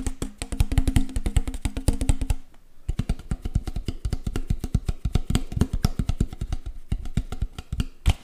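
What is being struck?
Plastic water bottle.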